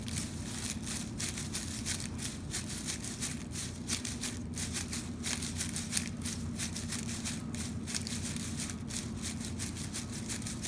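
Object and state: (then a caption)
Metallic foil ribbon bow. A large, red, shiny metallic foil curling-ribbon bow is held in both hands and squeezed and crinkled with the fingers. The result is a steady run of bright, crackly rustling over a low, constant hum, with no clear pauses.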